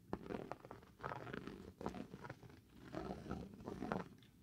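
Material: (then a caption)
Cork. A small dark hard tool scratches a large, solid, irregular piece of granulated cork board held in the hand. It makes quiet, dry, crackly scraping bursts that come in uneven strokes, mostly low and mid in tone with little brightness, and each stroke stops short with no ring.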